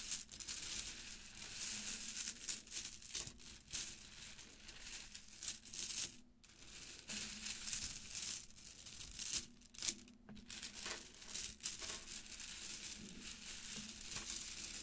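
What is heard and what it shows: Fingertips rummage and scratch through a heap of plastic Mardi Gras bead necklaces, white pearl-like, purple, gold and green, lying on a surface. The small hollow beads give a steady, bright rattling and crinkling clatter with many quick clicks, broken by a few short pauses.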